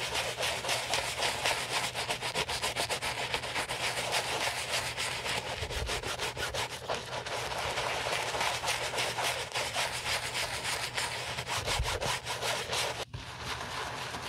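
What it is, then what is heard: White leather sneaker being scrubbed. Gloved hands scrub the foamy side and heel panel of a white leather Gucci Ace sneaker with a wooden-handled bristle brush during a restoration. Quick, steady back-and-forth strokes make a bright, hissy bristle scratching sound with a rapid uneven rhythm, dipping briefly near the end before continuing.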